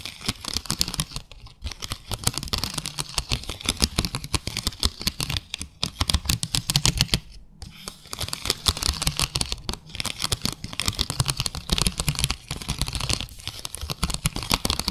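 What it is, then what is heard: Ribbed plastic plate. Long acrylic nails rapidly tap and scratch across the parallel grooves of a small, flat, clear ribbed plastic plate. They make dense, crisp clicks and scraping ticks with a low thump underneath. The sound stops briefly near 1.5 and 7.5 seconds before continuing.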